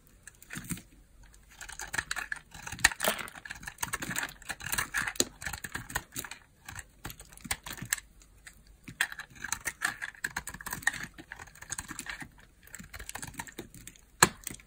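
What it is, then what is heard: Bar soap being carved. A small, solid pink bar of hard soap is held in the hand and carved with a utility knife blade, shaving off thin slices. Quick, crisp scraping and clicking cuts come in irregular bursts with short pauses, each cut bright and dry with almost no ring.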